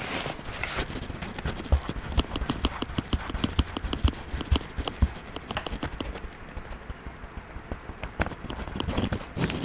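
A hand rubs a wax crayon in short strokes over the paper page of an open coloring book on a desk. Quick, irregular scratchy strokes with soft low thumps run throughout, easing off for a quieter stretch before picking up again near the end.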